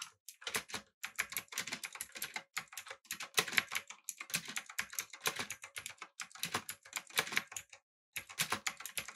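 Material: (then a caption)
Plastic. A backlit mechanical keyboard with an aluminum body, blue switches and round plastic keycaps is typed on by both hands using the fingertips. Rapid, bright, crisp clicks come in bursts with brief pauses between runs. The keystrokes stay sharp and short, with almost no low end.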